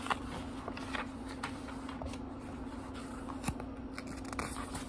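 Fingertips turn and riffle the cream paper pages of a small leather-bound book resting on a wooden table. Quiet, crisp paper flicks and soft rustles repeat throughout, with brief brighter snaps as pages fall. A steady low hum sits underneath.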